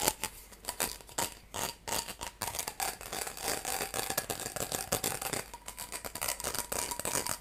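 Fingernails scratch along the ridges of a hollow, light blue corrugated plastic tube, a ribbed hose segment about a hand's length long. Dense, rapid ticking and rasping clicks run continuously, bright and crisp with little low end and a faint tonal ring near 870 Hz. Each click dies away almost instantly.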